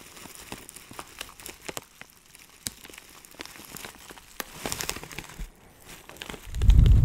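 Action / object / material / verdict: scrape / plastic bag of dried herbs / plastic / none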